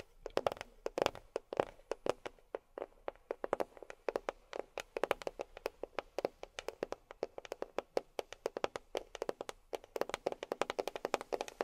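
A box is tapped with long fingernails in quick, uneven runs of dozens of dry, clicky taps. Each tap is short and sharp with almost no ring, centred on a mid tone near 535 Hz with little bass. The tapping stays fairly quiet throughout and comes in bursts of varying speed.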